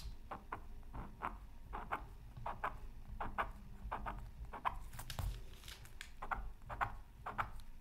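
A bamboo stylus scratches short strokes into the coating of a flat, thin, solid black-coated scratch art card from a Mythical Creatures Super Scratch Art Pad. Quick, dry scratching bursts centred around 1 kHz repeat steadily, each stopping instantly, over a faint low rumble.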